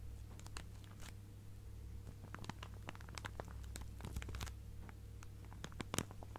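Long nails tap and scratch on a clear plastic zip-lock bag stuffed full of fabric scraps. Quick, crisp crinkles and clicks come in irregular bursts over a steady low hum, with a sharper tap standing out near the end.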